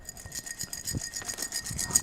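Lima beans inside a glass jar are shaken as a shaker, producing a steady, bright rattling clatter of beans hitting glass, mostly in the high frequencies. It makes a great shaker sound.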